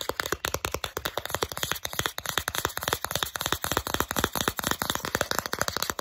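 Long acrylic nails quickly tap and scratch the solid back side of a small, flat plastic Starbucks gift card. A rapid, uneven stream of sharp, dry clicks mixes with brief scratchy rasps. Each tap dies away almost instantly, with a bright, light tone and little low end.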